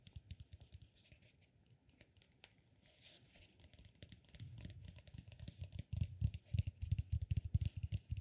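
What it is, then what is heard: Cork massage ball. Fingernails scratch and tap the textured surface of a solid, peanut-shaped cork massage ball held in both hands. Faint scratchy rustling and light clicks open the clip, then build into a dense, irregular run of short, dull, low thuds with bright scratchy edges. The tapping grows noticeably louder and heavier toward the end.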